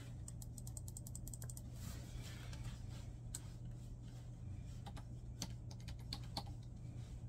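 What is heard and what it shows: Fingertips tap the keys of a black plastic laptop keyboard resting on a bed in continuous typing, with papers lying untouched nearby. Quick, bright, dry clicks patter over a steady low hum.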